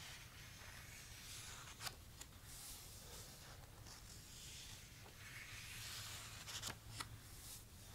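Fingertips rub along the uncoated paper pages of a thick open paperback book, making a soft, continuous, bright papery rustle with a low hum beneath. A page is lifted and turned, and two brief crisp ticks stand out from the quiet rubbing.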